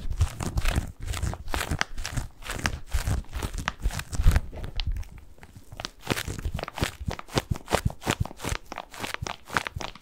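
A medium-sized, soft padded white bath tub pillow covered in textured plastic mesh is held in both hands and scratched and squeezed with fingertips close to the microphone. It makes rapid, dry crinkling and scratching bursts over a heavy low, muffled rumble. The bursts ease into a quieter stretch near the middle before picking up again in quick, short strokes.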